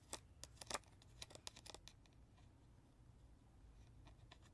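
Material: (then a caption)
Plastic. Natural fingernails and fingertips scratch and tap the back of a hollow, hard plastic lion baby toy, across its screws, speaker grille and battery cover. Sharp, bright clicks and scratchy ticks come in an irregular cluster in the first two seconds, then fade to faint scraping with a few more soft taps near the end. Each tap is dry and dies away almost instantly.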